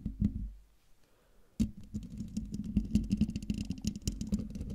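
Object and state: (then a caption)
Metal mesh microphone grille, tapped and scratched. A silver Blue Yeti microphone's hollow metal mesh grille is scratched and tapped with long, dark-painted nails of both hands. A few taps open the clip, followed by a quiet pause. Then a sharp tap starts a dense run of scratching and tapping, with low, resonant thumps around 215 Hz and short, brushy rasps.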